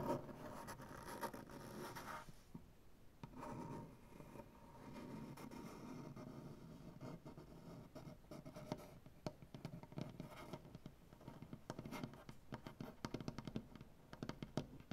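Both hands scratch and rub a solid light wood butcher-block tabletop with dark-painted nails, making a soft, steady, dry scraping hiss. In the second half it breaks into quick, sharp tapping and clicking with short, dead ticks that barely ring.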